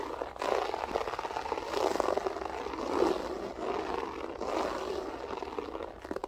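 Long acrylic nails scratch fast with both hands across a flat beige loop-pile floor carpet with a textured pile. The result is a dense, continuous rustling scrape centered in the midrange, swelling and easing in waves with faint bright edges.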